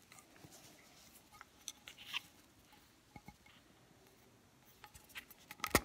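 Fingernails tap and scratch the side and flat bottom of a small, round, lidded metal soy candle tin filled with wax. The sound is quiet: short, dry, high-pitched ticks mixed with soft scratchy rasps, with the sharpest clicks near the end.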